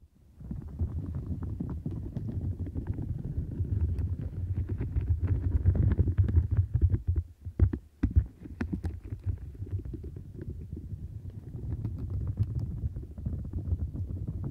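Long nails and fingertips scratch the bristles and squeeze the edges of a large, soft, flexible turquoise silicone mat with bristles and bumps, which seems to be draped over the microphone. The result is a dense, muffled, deep rumbling rustle packed with fast, irregular crackly scrapes. It briefly drops away and returns with a few sharp clicks before settling back into steady scratching.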